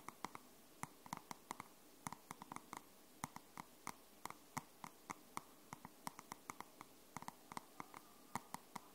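Long nails tap and scratch the matte cardstock cover of a dark grey paperback book held in both hands. About 38 quiet, sharp, bright clicks land in an uneven rhythm over a soft scratchy hiss, each dying away almost instantly.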